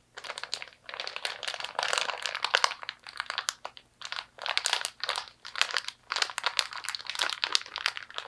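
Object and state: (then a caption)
Plastic zipper bag being crumpled. An empty clear plastic ziploc-style zipper storage bag is crumpled and squeezed by both hands. It makes bursts of crisp, bright crinkling packed with tiny clicks and crackles, separated by brief pauses. Each burst cuts off almost instantly with no ring.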